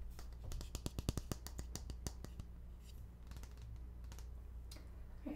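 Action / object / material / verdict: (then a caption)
tap / plastic pump bottle / plastic / none. A medium-size green plastic lotion pump bottle, hollow and filled, is held in both hands and tapped and scratched with fingernails. A quick run of sharp, dry clicking taps over the first two seconds gives way to softer, brighter scratching, all over a steady low hum.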